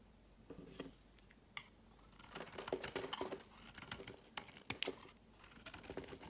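A metal knife blade carves and shaves a solid, palm-sized oval bar of green soap held in one hand, and curls of soap fall away. Quiet, crisp scraping and crackly shaving strokes come in bursts, with bright, dry ticks and very little low end.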